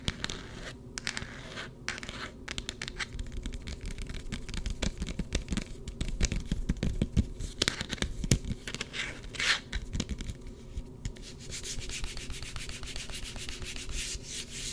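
Long red-painted nails scratch and rub a hand-sized smartphone's hard plastic case, which has a card pocket and is held close to the mic. A dense run of fast, dry scratching and scraping ticks sits over a low rumbling rub, while the case stays solid with no rattle.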